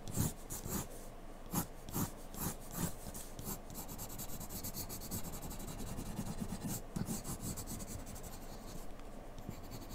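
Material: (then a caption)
Paper. A graphite pencil tip scratches and shades across a single flat sheet of white drawing paper bearing a graphite portrait, lying on a dark table. Several short, separate scratchy strokes come first, then the sound settles into a steady, dense papery rasp of continuous shading with a few sharper strokes mixed in. The sound is quiet and dry, with bright scratchy edges over a soft low rub.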